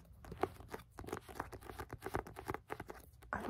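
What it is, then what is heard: Paperback book. Finger pads tap rapidly on the back of the solid card cover of a Penguin Classics paperback. The result is a quick, uneven patter of soft, dull taps, mostly in the low and middle range with little brightness. A louder, brief papery rustle comes in at the very end.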